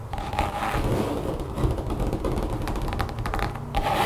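Long painted nails of both hands scratch and tap across a large, thin, solid brown textured mat, apparently rubber or vinyl, lying flat over a table. The result is a dense, continuous rasping and patter of quick taps, heavy in the low end with little brightness and a faint steady tone near 820 Hz.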